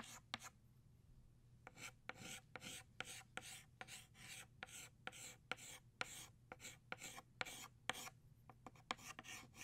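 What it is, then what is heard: Chalk drawing on a chalkboard. An orange chalk stick, held in the fingertips, draws flower outlines on a flat black chalkboard. A quick run of short, dry scratching strokes rasps with bright, high energy over a faint low hum.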